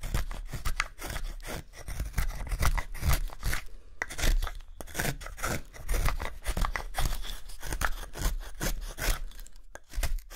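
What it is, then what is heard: Wooden spoon blank being carved. A pale, solid wooden spoon blank is held upright in one hand while a small steel carving knife slices shavings off its handle. Repeated crisp cutting and scraping strokes come in quick, uneven bursts, each a short bright rasp over a steady low rumble.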